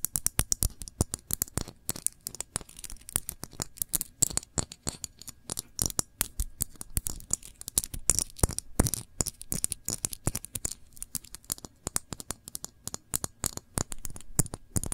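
Long nails tap rapidly on a small glass jar full of cranberry jam with a metal lid, striking both the paper label and the bare glass. The result is a dense, irregular stream of short, dry clicks with a bright tick and a soft low thump, with scratchy brushing sounds between the taps.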